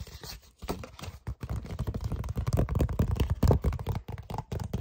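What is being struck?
Card-stock paper envelope.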